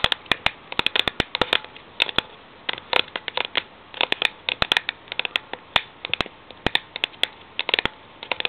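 Long nails tap and scratch the side of a cylindrical Milo steel tin with a paper label while it stands on a laptop. Dozens of sharp, bright, dry clicks come in irregular bursts with almost no low end or ring, and soft scratchy rasps fill the gaps between them.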